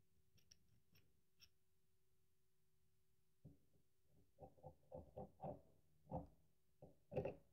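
A solid cream-colored bar of very dry soap, held upright in one hand, is scraped and carved with a small metal carving tool, and crumbly shavings pile up below. Faint bright ticks are followed by a run of short, dry scraping crunches that come at an uneven pace and grow louder toward the end, over a low steady hum.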